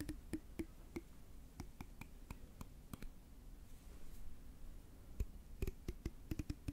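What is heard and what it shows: A long grey translucent plastic hair comb with fine teeth is held in one hand while fingertips strum and flick its teeth close to the microphone. Sharp, dry clicking snaps ring briefly with a bright edge over a low rumble, bunched at the start and end with a quieter gap in the middle.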